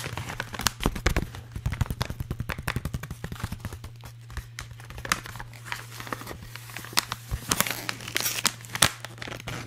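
An empty, hollow blue holographic metallized plastic foil bag is crinkled and scratched with fingertips and nails. The result is a dense run of sharp, bright crackles and crinkles with quick, dry snaps, over a steady low hum.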